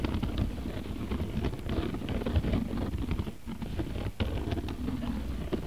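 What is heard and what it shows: Fingertips and nails scratch and tap the woven surface of a medium-size round, flat bag made of coiled beige cotton rope with a rope strap. The result is a dense, continuous, low, muffled scratching and rustling with soft tapping patter throughout, briefly quieting twice in the second half.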